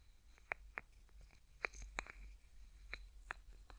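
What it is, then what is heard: Plastic bottle cap clicking. Fingertips twist and click the yellow plastic cap on a small, hollow, opaque yellow plastic bottle, like a cosmetic or sunscreen bottle, held in the other hand. A series of sharp, dry plastic clicks and ticks, bright around 2.3 kHz, stops dead with no ring. They sit over a quiet, low background hum.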